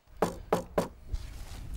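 Three dull, hollow knocks strike a termite-damaged wooden railway sleeper on the Richelieu–Chinon line. The sleeper sounds hollow, with nothing left inside and nothing holding, and termites and poor maintenance have made the track unusable. Each short, low thud dies away almost at once, leaving faint outdoor background noise.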